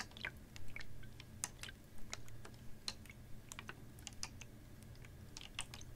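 A clear, ribbed PET water bottle, capped and about half full of water, is tilted and tapped with fingernails. Quiet, irregular, crisp bright clicks and ticks come in quick clusters over a steady low hum.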